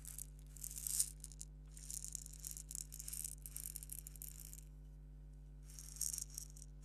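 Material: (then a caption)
Plastic. A small, purple, hollow plastic egg shaker filled with salt or sand is held in one hand and shaken and turned with the fingertips. It gives soft, bright, dry rattling bursts of grains that fade quickly, with a pause near the end before a final shake. A steady low hum runs underneath throughout.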